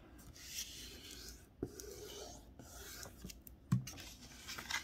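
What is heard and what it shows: Fingertips press and rub along the fold of a thin strip of pink Christmas wrapping paper with a snowman print, lying flat on a white table, to crease it. A soft, airy rubbing hiss runs throughout, broken by brief sharper crinkles and light taps as the paper is pressed.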